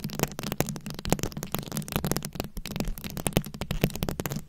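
Very long pointed acrylic nails scratch and tap across a fist-sized, ball-shaped microphone head that is fully covered in small round plastic rhinestones and beads and held in both hands. The result is a dense run of quick, dry clicks and crackling scratches with a heavy low-end thump and almost no ring after each tap.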